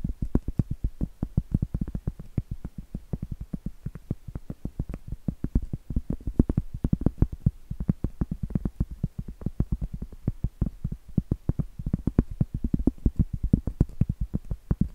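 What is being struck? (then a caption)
Cork trivet. Long acrylic nails rapidly tap and scratch the flat face of a round, solid cork trivet held upright. The result is a quick, steady stream of dull, low, woody thuds that die away almost instantly, with soft scratchy texture between them and almost no bright ring.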